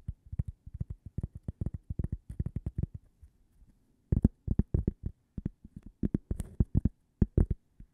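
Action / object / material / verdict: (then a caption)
tap / thin cork coaster tapped with fingernails / cork / none. A thin, solid, toast-shaped cork coaster held edge-on is tapped with long purple nails. Dozens of quick, dull, low taps come in rapid bursts, each dying away instantly with no ring, with a brief quiet pause near the middle.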